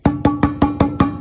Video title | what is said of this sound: Homemade instruments | so i have a really big coffee can with a lid on it when i tap it it sounds like a real drum